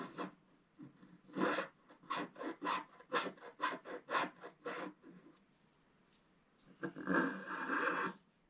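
A wooden stylus scratches fill strokes into a flat black-coated scratch-art card, making a quick run of short, dry rasping strokes. After a brief pause, one longer, denser scratching stroke follows.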